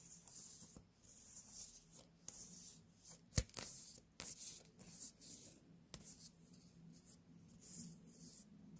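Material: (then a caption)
Gourd. A small white pumpkin, a real gourd with its stem, is held and turned in the hands while long nails tap and scratch its surface. Bright, hissy scratching bursts come and go over a faint low hum, broken by several short, sharp taps.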